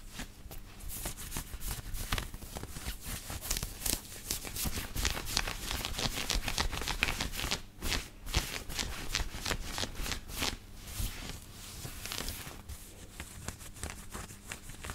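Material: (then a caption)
Cotton. Fingertips and nails scratch the chest and collar of a black knit cotton t-shirt worn on the body. The result is a dense, irregular run of quick, bright, scratchy rustling strokes over a steady low hum, with a brief dip in the middle before the scratching resumes.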